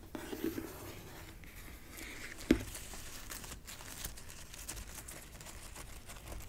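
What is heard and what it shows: Long nails tap and scratch the flat face of a white, marble-pattern printed cardboard gift box lid with a gold logo, held upright in front of roses. Quiet, dry papery scratching and light tapping run throughout, with one sharper, louder tap at about two and a half seconds. Each tap has a dull low-mid body and dies away almost at once.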